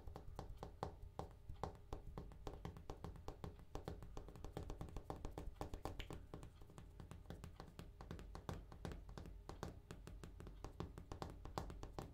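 A bathroom countertop is tapped in a quick, continuous stream of short, soft taps for about twelve seconds. Each tap is a dull, low thud with almost no ring and little brightness.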